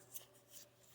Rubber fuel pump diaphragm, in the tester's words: you just hear how crispy this is